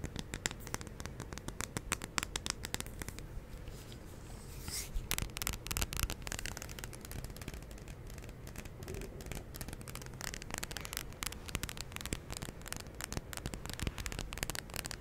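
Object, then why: Glass jar candle filled with wax. Fingertips and nails tap and scratch the glass of a large candle jar filled with white wax and bearing a label. A rapid, continuous stream of sharp, dry clicks and scratchy scrapes runs throughout, with bright clicking edges over a soft low hum. Each tap dies away almost instantly.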